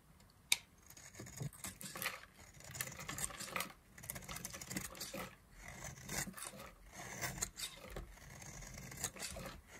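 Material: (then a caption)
Soap. A solid yellow oval bar of dry soap, held in the hand, is scraped and carved with a black-handled knife. After a sharp click near the start, a run of quiet, dry, bright scraping strokes comes in short rasping bursts with brief pauses between them.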